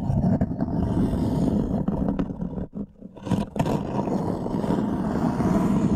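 Fingernails repeatedly scratch the surface of a wooden serving tray, a thin light wood board held upright. The result is a dense, continuous rasping scrape concentrated in the low-mid range. It briefly drops quieter around the middle before resuming steadily.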